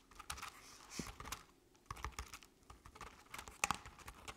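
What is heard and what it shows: Long decorated acrylic nails on both hands scratch a medium-sized, round decorative jack-o'-lantern covered in crinkled orange crepe paper with black paper face cut-outs. Quick dry scratches and taps produce a soft, bright, papery crackle over a low rustle. A few sharper, louder scrapes come near the end.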